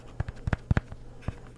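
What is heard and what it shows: Light taps on a Walmart-brand onn SD card case with a rubber interior that holds the cards in place; it fits a micro SD card and a normal-size SD card. The taps are soft, dull and low, each dying away almost at once, in an uneven series with a couple of quick pairs.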